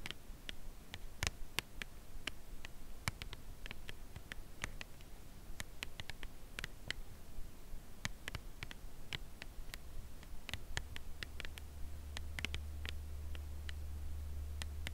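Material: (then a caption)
Cardboard. A white Lindt Creation Crème Brûlée cardboard box holding a chocolate bar is held upright and tapped slowly and gently with long acrylic nails. Soft, crisp ticks land one after another with almost no ring, over a quiet low rumble that thickens in the last few seconds.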